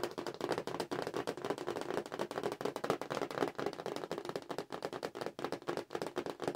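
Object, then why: Cardboard toy package. Long nails tap fast across the cardboard backing of a Star Wars Forces of Destiny toy package held in the hands. A dense stream of quick, dry clicks runs throughout, each one dying almost at once. The taps sit in the mid range around 450 Hz, with little deep bass or bright top.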